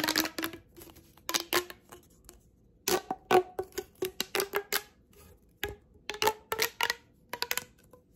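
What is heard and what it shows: A blue corrugated plastic pop tube, hollow and held close, is bent while long painted nails rub and scratch along its ribs. The result is a quick series of short, sharp crackling clicks and scrapes with a hollow mid-range tone and bright edges, in uneven bursts with brief pauses between them.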